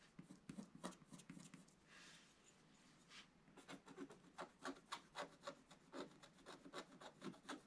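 A pointed wooden stylus scratches the lower left of a black-coated scratch-art paper page in a bound book. Quick, dry, bright scratching strokes repeat at an uneven pace, with a softer, steadier hiss for about a second in the middle. The strokes then come back sharper and more distinct.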